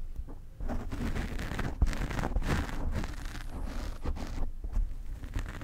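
Long fingernails on both hands scratch the black foam cover of a desk microphone. It makes a steady, close, muffled rustling and scraping, dominated by deep low rumble with little brightness, swelling in irregular scratchy bursts throughout.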